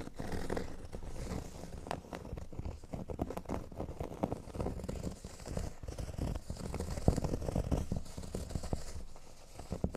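Fingernails scratch across the upper part of a large, flat, solid cork board shaped like a speech bubble. The result is a steady, dry rasping made of many quick, overlapping strokes, with a soft, low-heavy texture and little high-end brightness.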